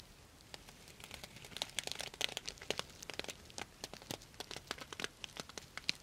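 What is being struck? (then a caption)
Sequin-covered fabric pouch with plastic sequins. Long nails scratch and rub down the plastic sequins of a purple sequin-covered fabric pouch held upright beside the mic. The result is a dense, bright crinkling of quick, dry clicks and rustles with almost no low end, growing busier after the first second and a half.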